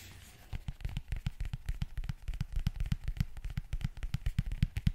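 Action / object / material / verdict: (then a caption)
tap / leather zip wallet / leather / none. Fingernails scratch and tap the leather face of a closed black leather zip wallet held in the hand. A faint, soft scratching opens the clip, then a quick, uneven run of taps follows, each a short, dull low thump with a crisp, bright click on top.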